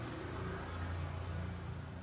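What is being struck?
Nothing is struck.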